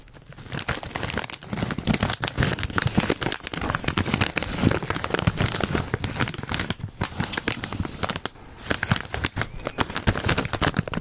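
Fingers tap and crinkle a foil-lined plastic Cheetos chip bag as it is held up and then turned sideways. A dense, continuous run of crisp crinkles and crackles fills the clip, with sharp, dry taps and a bright, papery texture over a fuller low rustle.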